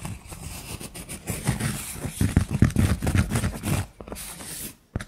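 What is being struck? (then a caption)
Thick cork coaster. Long nails scratch and tap the face of a thick, round, solid cork coaster held in hand. The result is a steady run of dull, low, dry scratching with soft taps that die away almost instantly. It fades to near silence at the end before one last short tap.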